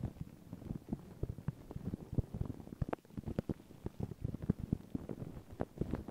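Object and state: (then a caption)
Paper tissue scratched over a microphone. Long pink nails and fingertips scratch and rub thin white paper tissue stretched over a round microphone head. Dense, quiet crinkles and scratches with low, muffled thumps sound in quick, irregular succession, with many short, dry hits close together.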